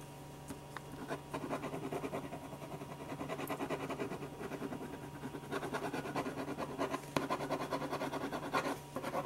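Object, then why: Paper sheet under a pen tip. A black pen tip scratches and rubs across a single thin, flat white paper sheet lying on a desk, laying down dense shading strokes. The sound is a quick, steady run of dry, papery scratches with a low hum underneath. A few sharper strokes stand out near the end.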